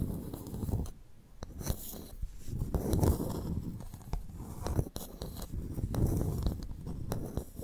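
A pearl clam's shell is tapped and scratched before the clam is opened to extract its pearl. Short, dry clicking taps land irregularly over a low, rough scratching rumble that swells and fades throughout.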